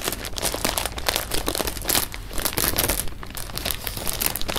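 Fingers crinkle an open clear plastic bag of jelly beans held in the hands and move the beans around inside it. Dense, bright crinkling and crackling rustles come in quick, uneven bursts over a steady low hum. The rattling continues throughout without pause.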